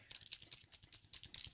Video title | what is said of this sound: Oct 10 2018 Poinsettia Card | You can hear the BB moving around in there, so that means it's ready to go.